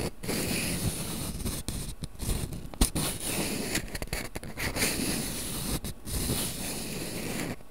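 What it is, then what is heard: Cardboard matchbox with wooden matches. A small printed cardboard matchbox full of wooden matches is held in both hands while its inner drawer is slid open and closed and rubbed with the fingers. The result is a steady dry scraping and rustling with a low, rumbly body, broken by a few brief quiet gaps and occasional sharper scratches.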